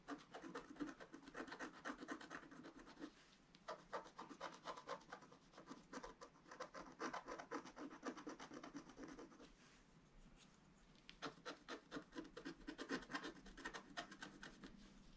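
A wooden stylus scratches the black coating of a flat, roughly A4 scratch-art paper board lying solid on a table, working near the vase area of the picture. Rapid runs of short, dry scratching strokes come in bursts, with quieter pauses around the 3-second mark and between about 9.5 and 11 seconds. The rasp is mostly mid-range with a bright edge and no lingering ring.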